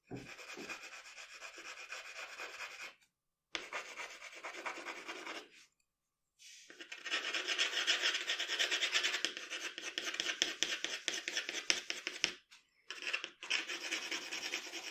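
The graphite tip of a wooden pencil scratches and rubs across a flat sheet of drawing paper lying on a dark table in rapid shading strokes. The result is a dry, bright, papery rasping in quick repeated strokes with no low end, coming in bursts broken by brief silences.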